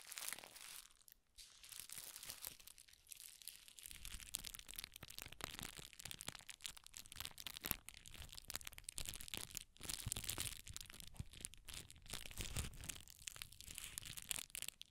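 Red tissue paper, twisted into a strip, is stretched between the fingers. It gives a steady, quiet, bright crinkling and crackling with quick dry snaps throughout, and a soft low rumble underneath from about four seconds on.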